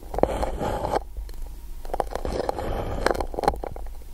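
A pencil is scratched along the surface of an empty gold-coated paper cup held over the microphone. It makes a dry, hollow rasping in strokes, with short clicks and a steady low rumble underneath.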